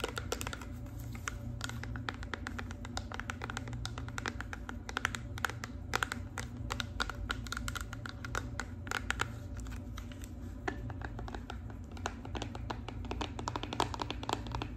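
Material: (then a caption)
Plastic. A clear plastic Bodycology body wash bottle with a barcode label, apparently filled with liquid, is tapped along its side with long pink nails and fingertips. The result is a rapid, continuous stream of short, light clicking taps that die away almost instantly, over a steady low hum.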